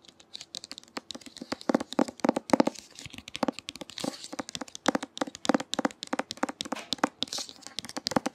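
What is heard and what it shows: Fingernails tap rapidly on the glossy cover of the book *Clap When You Land*. The taps are light, crisp and dry, like typing, and come in an irregular stream with no ring after each click.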